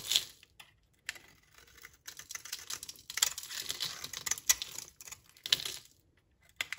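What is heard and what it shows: A utility knife blade scrapes crumbly flakes off a solid, translucent, brownish dry soap bar held in the hand. The sound is a series of crisp, bright, crackling scrapes with very short decays, coming in bursts separated by brief silences.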